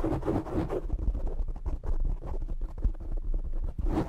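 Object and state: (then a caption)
Foam microphone windscreen being scratched. Fingertips and short nails of both hands scratch and grip the black foam windscreen on a desktop microphone. The result is a dense, muffled, low rumbling scrape made of rapid rough bursts, with brighter hissy scratching at the start and end.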